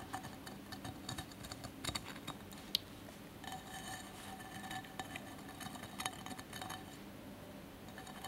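Fingertips and nails of both hands tap and scratch the sides of a small cylindrical candle holder covered in colored cracked-glass mosaic, with a lit candle inside. Quiet, dry clicks and bright glassy ticks come in quick irregular runs over a soft scratchy rustle, and each tap dies away almost at once. One sharper click stands out near the middle.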